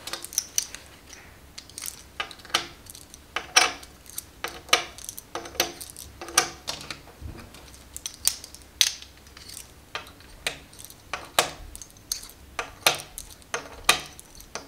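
A stack of small solid plastic or composite poker chips, held in both hands above a glass table, is shuffled and clicked together by fingertips with long red nails. The result is a steady, irregular run of sharp, bright clacks that die away almost instantly, with very little low end.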